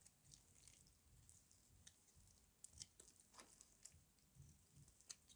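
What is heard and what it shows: A solid white, hand-sized rectangular bar of dry soap is held in one hand and shaved and scraped with a metal utility-knife blade, shedding powder and flakes. Quiet, irregular, bright crisp scratches and crackles come at an uneven pace over a soft low rustle.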